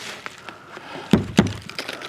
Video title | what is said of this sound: 18 Scary Forest Encounters With Something Not Human | It's hollow. It's like a a drum.